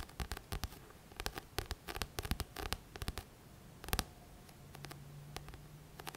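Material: Card.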